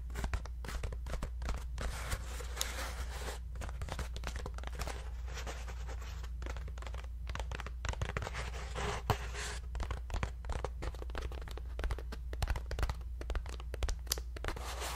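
A hollow, round, ribbed paper lantern is held in both hands and scratched with fingertips and a thin stick-like tool. Dense, dry papery scratching and crinkling run throughout, with many quick, bright ticks over a steady low hum.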